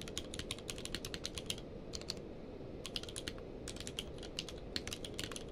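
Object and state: Plastic mechanical keyboard.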